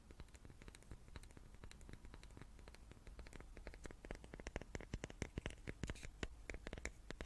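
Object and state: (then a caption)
Wooden cube. A small wooden cube is tapped repeatedly with quick, dry taps that die away almost instantly. Each tap gives a soft low knock with a bright click on top, over a faint low hum. The tapping is quiet and grows denser and slightly louder toward the end.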